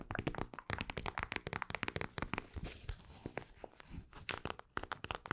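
A mint-green plastic eye mask filled with gel beads, with an elastic strap, is scratched and tapped with long acrylic nails. Rapid, dry crinkling and crackling taps with a bright edge come in dense bursts, easing briefly in the middle before picking up again.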